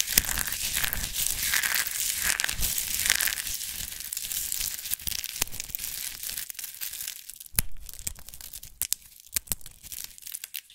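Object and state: Dried soap rose crumbled.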